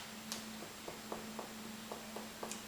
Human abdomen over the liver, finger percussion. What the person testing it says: can't hear it as well, but that's a dull sound because there's something solid underneath